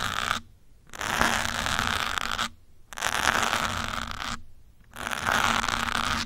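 A metal pin and fingertips scratch and rub a grey foam windscreen on a black microphone. Long bursts of close, crackly scratching with a bright hiss and a low hum are broken by short silent pauses.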